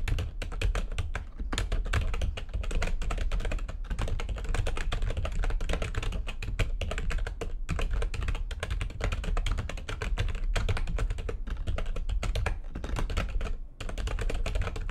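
Rapid, continuous typing with long nails on a full-size plastic backlit computer keyboard gives a dense stream of short, clicky taps that barely ring. There is a heavy low thump under the brighter clatter, and the pace only briefly pauses near the end.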